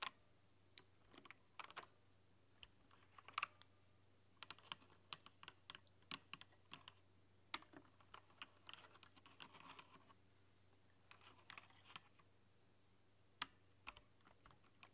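A full-size plastic backlit mechanical keyboard with translucent plastic keycaps and a rainbow backlight is typed on by long painted nails and fingertips, tapping across the keys. Irregular bursts of short, bright clicks and taps ring over a faint low hum, with occasional clustered flurries of quicker keystrokes.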